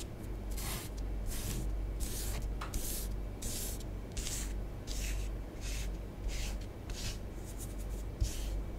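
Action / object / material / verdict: scrape / bath bomb powder on a tabletop, scratched with fingernails / powder / none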